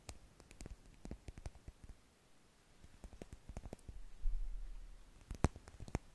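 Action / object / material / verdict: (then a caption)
scrape / plastic dish brush bristles / plastic / none. A blue plastic dish brush with a long, curved solid handle and dense, stiff plastic bristles is held in both hands above the mic while fingertips and nails scratch the bristles. Soft, crisp clicks and scratchy ticks come in scattered bursts over a quiet, low rumble. The rumble swells midway, and one sharper click stands out near the end.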